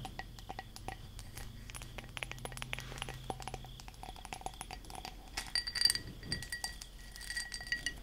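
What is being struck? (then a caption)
Textured glass object. A textured glass object is tapped and scratched with long nails, producing many quick, bright glassy clinks with short ring and a faint scraping texture underneath.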